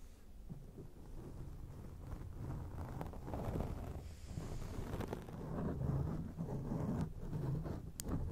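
Long acrylic rainbow nails scratch a grey foam microphone windscreen, producing a continuous muffled, rumbling rustle concentrated in the low range. Irregular soft scraping swells rise and fall throughout, with a few faint brighter clicks near the end.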